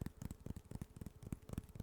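Fingertips tap on homemade wooden sticks, similar to popsicle sticks but thicker, smoother and made of a different wood. The taps are soft, dull, low thuds that stop almost at once, in a quick uneven patter. The sound stays fairly quiet.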